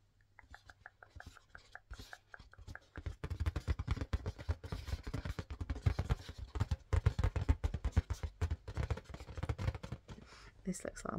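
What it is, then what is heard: Inflated rubber balloon. Fingers tap fast but gently on an inflated green marble-pattern latex balloon. The taps make soft, dull, low thumps with almost no ring, starting sparse and light, then becoming a dense, quicker, louder patter after about three seconds.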